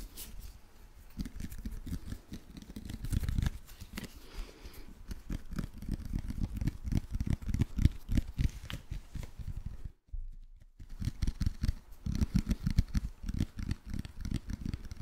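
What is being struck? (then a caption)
Plastic jar with plastic screw lid. A hand-sized, apparently hollow plastic jar with a purple label and a white plastic screw lid is tapped and scratched with fingernails. The result is a steady stream of soft, dull, low taps mixed with crinkly scratching. There is a brief pause near the ten-second mark before the tapping resumes.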